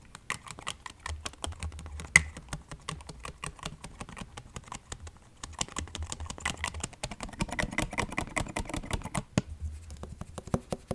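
A medium-sized clear orange plastic body mist spray bottle with a pink-striped label and a silver and white pump cap, hollow and partly filled with liquid, is held in one hand and tapped with the fingertips and nails of the other. Quick, dry, clicky taps come in a dense, uneven patter, each one short and bright with almost no ring. A faint low hum rises and falls underneath.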